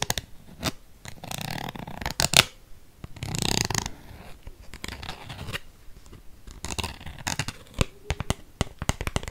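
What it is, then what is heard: Empty aluminium squeeze tube. A small, used-up aluminium cosmetic squeeze tube of crinkled silver metal-laminate, with a white plastic cap, hollow and mostly empty, is held in one hand. Long fake nails tap, scratch and crinkle along its body, giving bright, dry crackles, sharp clicks and brief scraping bursts.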